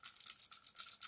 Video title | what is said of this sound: Day 43 - Selling on VINTED - Business lessons from PATAGONIA - BALANCE update - Reseller UK | there's like rattling and for collectors it's something that collectors prefer not to have